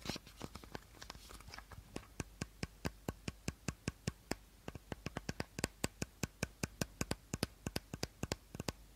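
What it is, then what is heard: Empty plastic bottle. Fingertips and short nails tap rapidly along the body of an empty, hollow clear plastic bottle with a teal cap. After a brief bright, scratchy rustle at the start, a long, steady run of short, dry, clicky taps follows, each with a bright attack and almost no ring.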